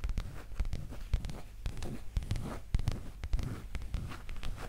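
Long green acrylic nails scratch and rub a soft, flexible black leather skirt held close to the microphone. The result is a steady run of irregular, dry scratching and crinkling taps with a deep, muffled low-end rumble beneath them.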